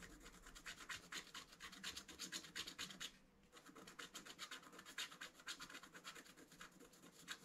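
A wooden stylus scratches the black coating of a flat scratch-art paper card lying on a table, working near the right-hand motif. Quick, dry, bright scratching strokes repeat at a steady, slightly uneven pace, with a brief pause a little past the three-second mark before the rhythmic scraping resumes.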